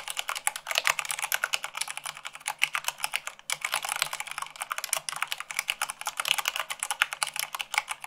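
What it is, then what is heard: Plastic mechanical keyboard. Long acrylic nails type fast, at about 98 words per minute, on a full-size mechanical keyboard with white plastic keycaps on a black base, tapping the keys. A dense, steady stream of bright, sharp clicks with almost no ring or low end breaks off briefly near the middle before the rapid clatter resumes.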